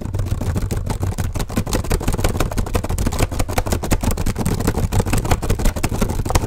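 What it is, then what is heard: Plastic laptop keyboard. Both hands type fast with their fingertips on the keys of an open black plastic HP laptop keyboard, seen from above. A rapid, uneven stream of short plastic taps and clicks runs throughout over a steady low hum.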